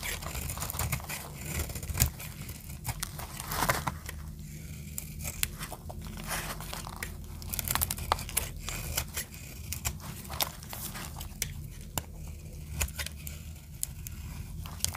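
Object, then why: Bar of soap cut with a metal blade. A metal blade repeatedly scrapes and cuts a solid green bar of dry soap held in the palm, breaking off brittle flakes. Crisp, dry crunching and scratchy scraping are heard, with many sharp bright snaps scattered throughout over a steady low hum.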